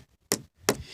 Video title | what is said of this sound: Death's experimental video | can hear how that's hollow